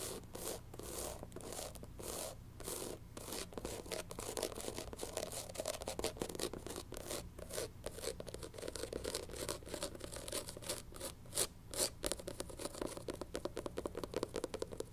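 Long pink nails scratch and tap quickly across the tan textured rubber sole of a sneaker held in hand. The result is a dense run of dry, bright scraping strokes and short ticks over a steady low hum.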